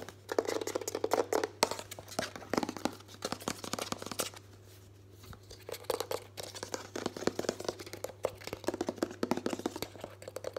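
Fingertips and nails tap and grip a white, hollow, medium-size Sanex plastic body moisturiser bottle (fill level not visible) quickly while it is tilted. The result is a dense run of sharp, crinkly plastic clicks and scratchy grips, with a brief quieter pause near the middle. A faint steady low hum runs underneath.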